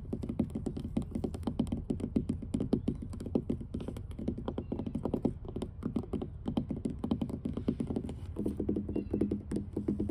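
Long blue almond-shaped nails on both hands tap and scratch the large, solid, weathered grey wooden boards of an outdoor dock. A rapid, steady stream of short, dry knocks with a low, woody body is mixed with faint scraping. Each tap dies away almost instantly, with no ring.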